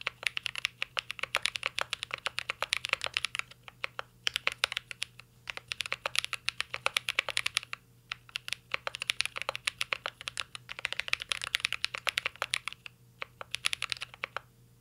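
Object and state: Mechanical keyboard being typed on.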